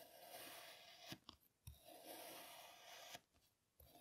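A plastic serrated toy knife is drawn through a flat, solid, hand-sized pink kinetic sand slab that is already scored, cutting in repeated strokes. Each stroke makes a steady, bright, grainy rasp, with two long strokes separated by short gaps of soft crumbly ticks, and a third stroke beginning at the end.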